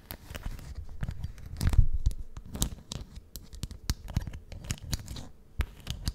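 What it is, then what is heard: Leather-covered journal. Long painted nails scratch and tap the cover of a solid, book-sized brown leather (possibly faux) notebook with a metal clasp, held in front of the mic. A quiet, continuous run of scratchy rustles mixes with soft, dull taps, with most of the energy in a low, thumping range and only brief bright clicks.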